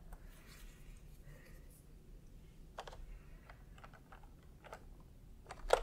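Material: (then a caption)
Plastic. Bare fingertips of both hands type fast, repeated key presses on a full-size pastel plastic retro keyboard with round plastic typewriter-style keycaps, resting on white fabric. Quiet, soft, short clicks tap out over a low background hum, ending with one sharper, louder click.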